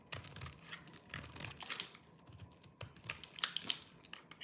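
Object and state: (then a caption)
Dry soap bar scraped with a knife. A hand-sized solid bar of dry green soap, held in one hand, is shaved and scraped with a small knife that has a yellow-tan blade, so crumbly flakes fall off. Quick, irregular, bright crunchy scrapes and crackles follow one another with almost no ring, and some sharper peaks stand out near the end.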